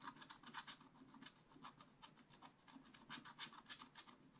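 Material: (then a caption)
Coated paper. A wooden stylus scratches repeatedly over the monkey area of a black-coated scratch-art page, a flat sheet in a spiral-bound book. Quick, uneven strokes make a dry, bright, raspy scraping with little low end. The strokes run together in a steady, irregular rhythm of short bursts.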